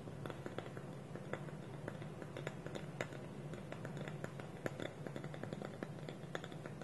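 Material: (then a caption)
Wood. Fingernails tap quickly on a small, hollow, polished wooden bowl whose wooden lid is held against it by both hands on a table. A steady stream of short, dry, clicky taps with a faint hollow tone sits over a low, constant background rumble, each tap dying away almost instantly.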